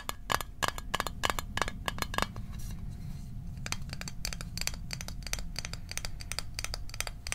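A small metal Altoids mint tin is tapped quickly over and over with fingers, giving short, bright clicks with a faint ringing tone around 1.1 kHz. Each tap dies away almost at once, over a steady low background rumble, with a brief pause in the tapping midway.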